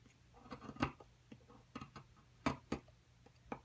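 A metal pick scrapes and chips into the excavated corner of a solid white plaster excavation block. About eight short, dry, irregular clicks and crunches sound over faint scraping, each dying away almost at once.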